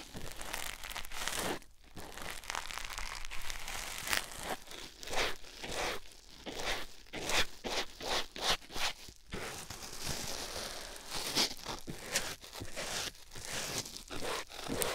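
A white foam sponge block, held in the fingers, is rubbed over a silicone ear microphone. It makes dense, continuous crinkling and rustling scratches with bright, broadband bursts and brief dips between strokes, steady over the whole clip.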